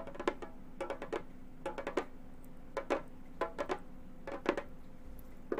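Gold metal claw tips tap the synthetic head of a hollow frame drum in quick clusters of light, short taps. Each tap is a dry, woody knock with a faint mid-pitched tone that dies almost at once, separated by short pauses over a low, steady background hum.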